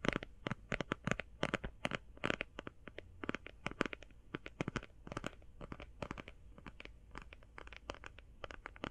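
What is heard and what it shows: Long painted fingernails tap fast on a closed, flat, rectangular, hand-sized cardboard eyeshadow palette. The result is a quick, uneven run of short, dry clicks with a faint scratchy edge and no ring. A low background rumble sits underneath.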